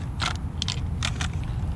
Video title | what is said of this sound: Mystery at the Museum | All right, so it sounds like there's one of the little micro containers in here rattling around inside it.